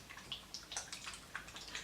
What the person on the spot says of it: if I shake this, can you hear how like liquidy that is?